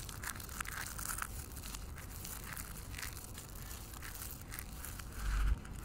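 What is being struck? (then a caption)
Pile of dry soap flakes. A bare hand with painted nails digs into a large pile of dry green soap flakes on a white wooden table, grabbing and squeezing them. Dense, continuous crunching and crinkling runs throughout over a low rumble, with a louder push of crushing near the end.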